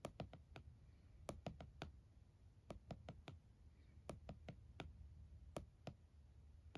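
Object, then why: Closed laptop in a plastic hard-shell case. A closed laptop in a purple plastic hard-shell case, resting on a towel, is tapped on the lid by one hand using fingertips and nails. About nineteen short, dry clicks come in an uneven rhythm, each dying away almost instantly over a quiet low background.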